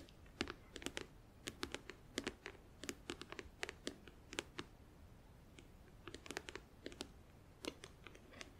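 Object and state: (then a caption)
Clear plastic nail organizer box. Long acrylic nails tap rapidly on the front edge of a closed, hollow, clear plastic compartment organizer filled with press-on nails and glue. The result is quick, sharp, bright plastic clicks in uneven bursts with short pauses, each tick dying away almost at once.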